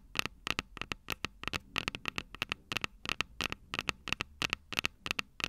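Long purple nails tap and scratch the two silver metal mic capsules on the plastic body of a Tascam DR-05 handheld recorder. About 30 sharp, dry, bright clicks come in an uneven run of roughly three per second, each with a strong tone near 2.7 kHz and almost no ring. Soft scratchy rustling fills the gaps between them.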